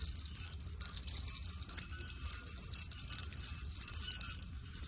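A metal jingle bell garland of small silver and pink metal jingle bells on a pink chenille heart hanger is held in the hand and shaken. It produces a continuous, bright, high-pitched jingling, with many overlapping quick tinkles and no long ring.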